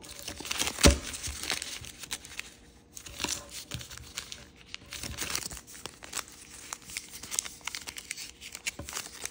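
Thin, multicolour origami paper with a circle pattern is folded and creased by fingers, then held in the hand while the folding continues. Soft, bright crinkles and papery scrapes run throughout, with a sharper crease snap near the start and quieter rustling between folds.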